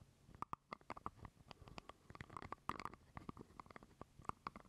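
Fingernails scratch and tap a small hollow purple plastic jar lid held close to the mic. A rapid, uneven series of quiet, dry clicks and taps follows, some carrying a short hollow ring around 1.1 kHz. Soft scratching runs between them, and each hit dies away almost at once.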